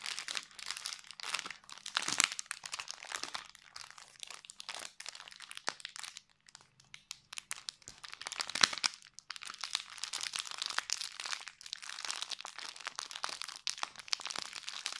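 Fingertips squeeze and crinkle a small clear cellophane treat bag, tied with a red ribbon and a round red label and holding a soft item, probably marshmallows, up close. The result is a dense, continuous stream of crisp, bright crackles and crunches with almost no low end, easing to a quieter patch around six to eight seconds before picking up again.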